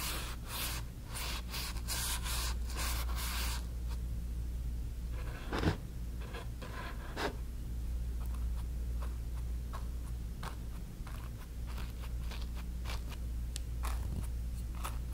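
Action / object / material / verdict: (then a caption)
scrape / stretched cotton canvas on a wooden frame / cotton canvas / none. A flat bristle brush strokes and rubs wet orange acrylic paint across a small stretched cotton canvas on a wooden frame. Dense, bright, scratchy brushing fills the first few seconds, then gives way to sparser short strokes and soft swishes over a steady low hum.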